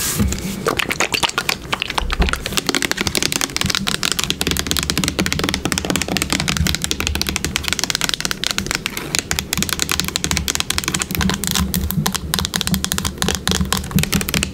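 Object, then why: Plastic bottle. Long pink nails rapidly tap and scratch the body of a yellow plastic hair product bottle with a brown cap and a label, about 20 cm tall and apparently full. A dense, continuous stream of crisp, dry clicks and scratchy rasps plays over a faint low hum, each tap dying away almost instantly.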